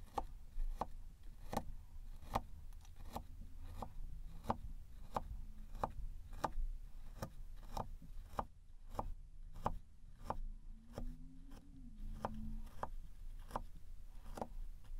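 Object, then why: Kinetic sand disc poked with a thin metal rod. A thin metal rod pokes and scratches along the star outline of a flat, round, golden kinetic sand disc that is solid and packed. About twenty short, dry, crunchy taps ring out at a steady pace, each dying away almost at once, over a low, soft rumbling bed.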